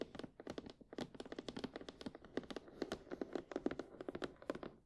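Long painted nails of both hands tap rapidly on the front face of a printed cardboard retail box for Sony WH-1000XM4 headphones, held upright, hollow with the headphones inside. Around thirty quick, dry taps come in a fast irregular patter, each a hollow papery tick with a low-mid body near 280 Hz and a bright clicky edge that dies away almost instantly.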